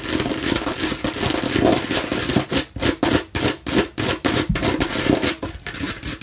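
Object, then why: Plastic watermelon-slice bottle. Long nails tap quickly on a hollow plastic watermelon-slice bottle as it is turned in the hand, striking both the green rind side and the red face. The taps form a dense, clicky stream at first, then separate into short hollow bursts with a bright edge and a faint tone around 312 Hz. Each tap dies away almost at once.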